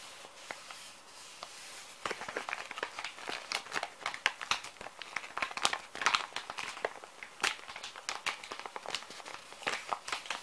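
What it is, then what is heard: Plastic wet wipes packet. A small, full plastic-film wet wipes pouch is rubbed and scratched across its printed film with fingertips. About two seconds of quiet, soft rustling give way to dense, crisp crinkling and scratching with many sharp, bright clicks. The sound is thin and high, with almost no low end.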